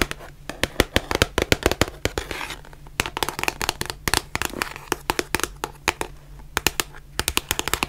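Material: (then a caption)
Cardboard. Long nails tap and scratch the edges and faces of a small white cardboard box of surgical masks, giving around forty sharp, dry, bright clicks in quick irregular bursts. Brief scratchy rustles fill the gaps, over a faint steady low hum.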